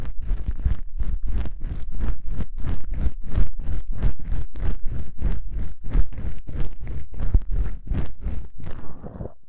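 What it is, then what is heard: Foam microphone windscreen. Long pink-painted nails scratch two small black foam windscreen covers on a binaural microphone. The result is a steady run of loosely rhythmic, rustling scratch strokes, each a brief broadband burst reaching high, over a heavy low rumble. The strokes fade into a softer, duller scrape at the end.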